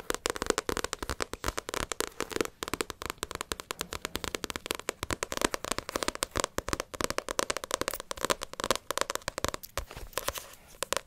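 Long acrylic nails rapidly tap the glossy card front cover of a small, solid Naruto paperback manga book. The result is a dense, steady stream of short, dry clicks with a mid-range knock and bright clicky edges. Each tap dies away almost instantly.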